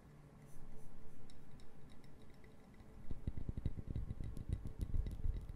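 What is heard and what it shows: Long nails tap and click on a small brown wooden puzzle box made of solid wood pieces, held close to the mic, with a light rattle. Soft, muffled tapping and rustling fill the first few seconds. Then quicker, sharper dry clicks arrive in an uneven rhythm, each dying away almost instantly.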